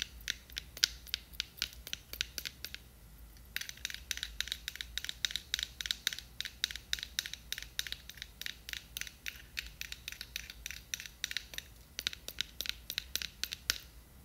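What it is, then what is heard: Plastic jar of glitter. Long nails scratch and tap the sides of a small, clear, square plastic jar with a white lid, filled with glitter. The result is a quiet stream of crisp, bright, dry scratches and clicks with almost no ring, broken by brief pauses, over a faint low hum.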